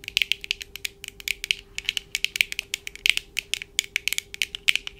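Long painted acrylic nails on both hands tap quickly on the lenses and frames of black plastic-framed eyeglasses worn on the face. The result is a rapid, uneven stream of sharp, dry clicks that are bright and centred around 2.3 kHz, with almost no ring and no low end. A faint steady hum sits underneath.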